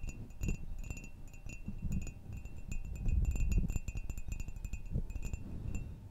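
A hollow ceramic coffee mug with a flower pattern, held in the hand, is tapped rapidly with long nails. The dense, clicky taps set off short, bright ringing tones over a low, muffled thump from the handling.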